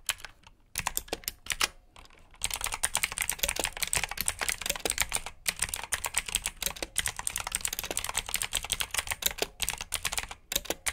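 Fingertips type on a black plastic backlit mechanical keyboard with blue switches, producing a fast, irregular stream of sharp, bright clicks. After a few scattered keystrokes and a brief pause, the typing becomes dense and continuous, with very short ringing.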